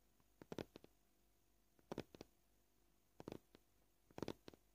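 Short, polished fingernails gently tap a flat, solid white plastic cutting board with knife scratches. Four quick clusters of dry, clicky taps are spread across a quiet background. Each tap dies away almost instantly.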